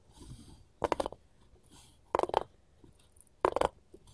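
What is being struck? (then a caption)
Wooden cutting board tapped with metal rings. Gold finger rings tap on a wooden cutting board in three quick bursts of rapid taps. The taps sound dry and knocky, with a mid-range tone, almost no ring, and quiet pauses between the bursts.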